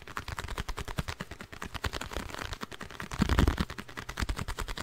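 A small, hollow, printed blue cardboard box with a multicolored side is held in the hands and tapped rapidly with long nails. The result is a fast, steady run of short, dry, hollow clicks and thuds, heavy in the low end and quick to die away. The tapping swells a little louder midway through before settling back.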